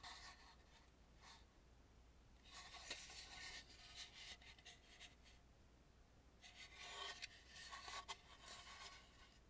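Long nails scratch and rub along the rough, dark, unpainted back edge of a hollow carved wooden mask. Soft, bright raspy scratching comes in bursts separated by brief pauses, over a faint steady low hum.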